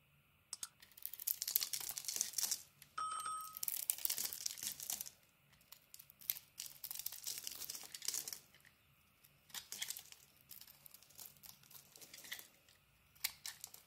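A solid pink bar of Arzt Seife soap is held in the hand while a metal utility-knife blade scrapes and carves thin curls off its face, exposing cream-coloured soap underneath. Bursts of bright, crisp scraping and crinkly shaving sounds come in separate strokes with short quiet gaps between them, and a brief tonal ring appears near the three-second mark.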